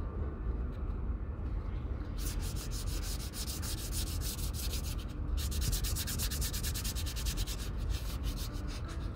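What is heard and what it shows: The toe of a leather Red Wing Pecos 9801 cowboy boot is rubbed with a folded piece of fine white sandpaper held by the fingertips. A steady, low, rumbling scrape runs throughout, and after about two seconds it picks up rapid back-and-forth strokes with a bright, gritty hiss.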